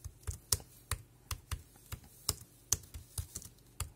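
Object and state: Plastic keyboard typing.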